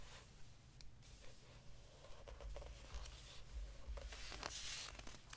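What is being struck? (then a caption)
Hardcover book with glossy paper pages. Fingers lift and flip the glossy paper pages of an open hardcover book, crinkling them, while a palm rubs across the page surface. Soft papery crinkles and brushing swishes come in irregular bursts, with bright hiss over a low, quiet rumble.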